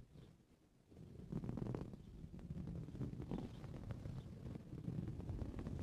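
Short blue-painted fingernails scratch across a soft, filled green coarse-weave fabric cushion, later with one hand scratching near the centre. After a quiet first second, a steady run of muffled, low, rustling scrapes builds and continues in quick, uneven strokes, with little high-end brightness.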